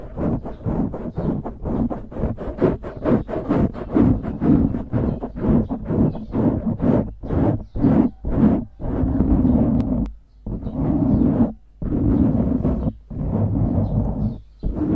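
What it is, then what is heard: Foam microphone windscreen being scratched. Fingertips scratch and rub a dark grey foam windscreen on a microphone, giving dense, muffled low scratching bursts centred around 250 Hz with little high content. Rapid short strokes in the first half give way to longer continuous rubbing passages separated by brief silences.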